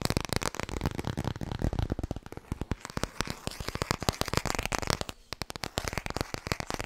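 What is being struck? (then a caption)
Hardcover book. Fast tapping on the hardcover book 'Klaar voor bed' produces a dense stream of quick, dry taps with a full low thump and little ring. The rapid rhythm continues throughout, with a brief lull around five seconds before picking back up.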